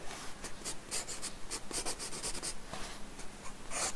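Quick pencil strokes scratch across a paper sketchbook page resting on a wooden desk while drawing hair. A rapid, uneven series of short, bright, hissy scratches plays over a faint low hum.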